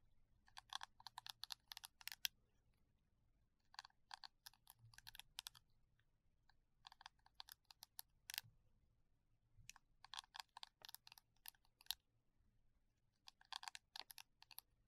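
Gloved fingertips scratch and rub across the short, dense silicone bristles of a small round brush head on a green cylindrical plastic holder, held in the other hand. Quick bursts of crisp, bright, clicky ticks come in clusters separated by short pauses. Each tick is dry and stops instantly, with almost no low end, at a quiet level.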